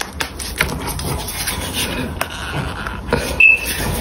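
Small chunks of pink gym chalk are rubbed and ground together between both palms above a pile of broken chalk. The result is a continuous, bright, gritty scraping and crunching, with a few sharper crackles standing out from the steady rasp.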